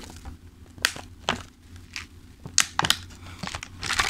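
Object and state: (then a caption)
Thin plastic clamshell container. Fingertips tap, press and crinkle a thin clear plastic clamshell food container full of pastries. Sharp, bright plastic crackles and crisp snaps come in short bursts, separated by quiet pauses over a faint low hum.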